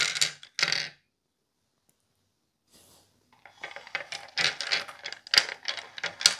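Plastic and resin tabletop role-playing dice are dropped into a bowl, making bright, clacky clicks. Two short bursts of rattling come first, then a pause with a faint rustle, then a dense run of overlapping clacks and clicks as more dice tumble in.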